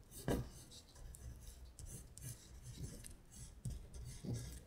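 A long pointed nail traces and scratches along the printed lines of text on a thin paper sheet printed with lyrics, lying flat. Soft, dry rasping strokes come in a series of short scratchy bursts, with a faint papery hiss and a low rumble underneath.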